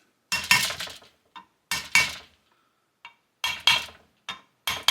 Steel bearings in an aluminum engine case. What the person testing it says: you can hear how solid that is. So all those bearings are in there